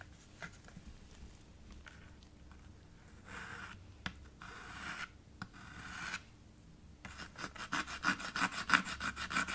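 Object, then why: Chalk on a slate board with wooden frame. A white chalk stick is dragged and scraped across the surface of a small dark chalkboard slate in a red wooden frame. Faint scratching gives way to a few longer, hissing strokes, then a fast, fairly steady run of short, louder rasping scrapes with a bright edge.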